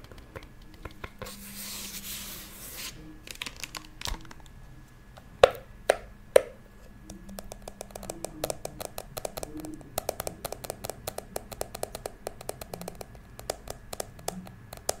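A small, hollow, blue glitter plastic toy purse held upright is tapped and scratched with long acrylic nails. The result is a close, dry mix of quick clicky taps and soft scratching, with a brief rushing scrape early on and a few sharper, louder taps partway through. It then settles into rapid, uneven tapping with a faint ringing tone around 530 Hz.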